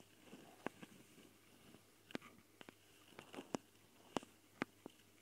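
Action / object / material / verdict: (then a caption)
tap / metal mesh microphone grille on a small recorder / metal mesh / none. Long painted fingernails of both hands scratch and tap the metal mesh grilles over the X/Y mic capsules, in plastic housings, of a small Tascam recorder. Eleven sharp, dry clicks with almost no ring stand out over a soft, constant scratchy rustle. The taps carry bright crackly edges.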